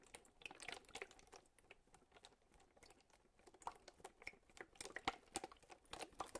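A clear plastic bottle with a little water inside is tapped with the fingertips and lightly crinkled in the hand. Quiet, dry, rapid taps and soft crackles come in uneven bursts, with brighter clicks standing out near the end. Each sound dies away almost instantly.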